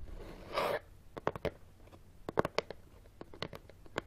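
Fingernails rapidly tap and scratch on top of a closed, hollow brown corrugated cardboard box resting on carpet, making the box shift slightly. A rough, bright scratching rustle opens the clip, followed by about fourteen short, dry, hollow taps with almost no ring.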